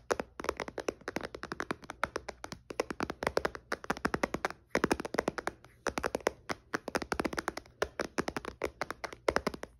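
Fingertips and nails tap rapidly on the glass screen of a white iPad lying flat with its screen off. The result is quick, dry, clicky taps in uneven bursts with almost no ring and a slight midrange knock.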